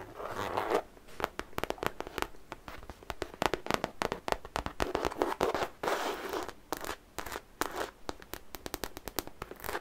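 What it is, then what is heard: Fabric cosmetic bag, scratched and tapped. Long nails scratch and tap close-up on the surface of a medium-sized, soft-sided zippered makeup pouch made of printed fabric, possibly coated canvas, with a London bus and phone-box pattern, holding unseen contents. The result is a dense run of dry, crisp scratches and quick clicking taps in uneven bursts, with the zipper perhaps adding some rasp. The sound sits mostly in the mids with a bright edge, has little low end, and each tap dies away instantly.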